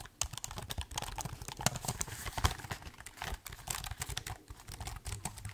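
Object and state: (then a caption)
Laptop keyboard with plastic keys. Fingertips type rapidly on the plastic keys of a silver laptop keyboard while the laptop is held tilted. A dense, continuous patter of short, crisp clicks mixes bright key snaps with low thumps, and each stroke dies away almost instantly.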